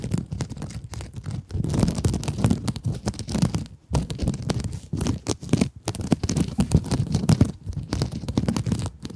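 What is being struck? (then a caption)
Mesh scrub sponge. Long acrylic nails scratch a small pink scrub sponge with a glittery mesh surface. The result is a dense, rapid, scratchy rustle with a muffled, low-heavy body. It runs almost continuously, with brief pauses just before 4 seconds and near 6 seconds.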